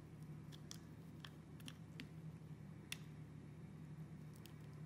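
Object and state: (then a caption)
Bar of soap being cut. A utility knife blade scrapes and cuts small cubes and slices from a hand-sized solid rectangular soap bar with clear and orange striped layers, held in the hand. Soft, scattered crisp clicks and squishy cuts sound over a steady low hum.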